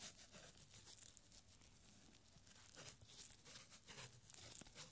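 A thin strip of yellowed paper with handwriting is unrolled and stretched between gloved fingertips, giving quiet, irregular crinkling and soft tearing-like rustles. The sound is mostly bright and high, with faint low rumble underneath.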